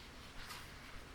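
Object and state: Nothing is struck.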